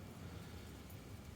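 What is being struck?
Nothing is struck.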